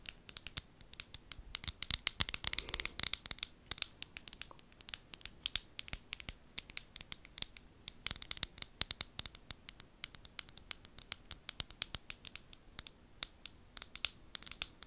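Long gold acrylic nails tap and scratch a small amber glass bottle with a white plastic lid, held close to a fluffy microphone. The result is a dense run of sharp, bright clicks and scratchy ticks that vanish almost instantly, with little low end, in irregular bursts.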